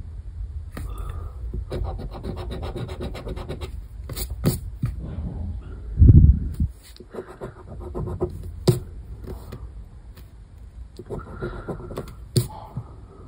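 A coin edge held in the fingers repeatedly scrapes the latex scratch-off area of a thin paper scratch card lying flat on a wooden table, revealing the letters underneath. Bursts of dry, raspy scratching come in stretches, mostly low and dull, with a few sharp clicks in between and a louder bump around the six-second mark.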